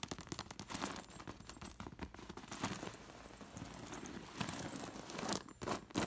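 Fingertips and long nails rake across an embroidered fabric cushion covered in dangling, sewn-on metal disc sequins. The discs clink and jingle together in quick, uneven bursts of bright metallic taps with a soft scratchy rustle underneath. The clinks stop almost instantly with no ring.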